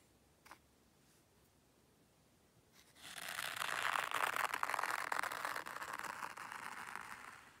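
A small wooden rake sweeps and scratches through fine white sand in a hexagonal zen garden tray. After about three seconds of near silence with one faint tick, a steady, grainy scraping hiss rises, centered in the mid range around 1 kHz with bright high edges. It holds for several seconds and then slowly fades toward the end.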